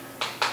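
An oyster in its shell is tapped twice while being checked before sale, giving two short, hollow clicks. The hollow sound means the oyster got chipped somewhere along the way and lost its fluid, so it is dead and can't be eaten.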